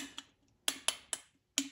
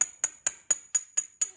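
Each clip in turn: First: Short, bright metal-on-ceramic ticks that die almost instantly and change from tap to tap: a cracked ceramic piece. Second: Seven bright, high metallic taps on ceramic, each the same clear ping, marking an uncracked part.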